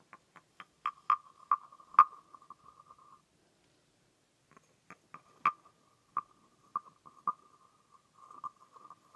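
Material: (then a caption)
Wood. A green painted, carved wooden frog guiro with a ridged, hollow body is scraped along its back ridges with a wooden stick. It gives rapid, woody clicking rasps over a hollow, croaking tone around 1.2 kHz, with sharper accented taps. Two bursts of scraping are separated by a brief silence.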